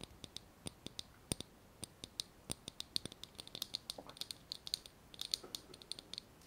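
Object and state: Glass jar with metal lid.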